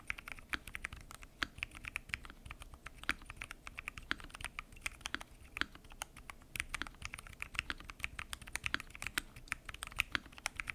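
Fingertips type continuously on a full-size mechanical keyboard with lubed switches, pink and mint PBT keycaps and a transparent acrylic case. The sound is a steady, quiet stream of short, dry, bright key taps and clacks with very little low end. Each keystroke stops almost instantly, with no ringing.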